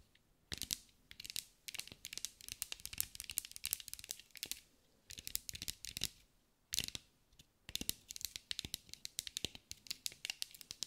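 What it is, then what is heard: Glass mosaic ball. A green mirrored glass mosaic sphere is held in the hands and tapped and scratched with long acrylic nails. Bursts of rapid, bright, crisp clicks and scratchy crinkling come with short pauses between them. Each tap is dry and stops instantly with no ring, and there is almost no low end.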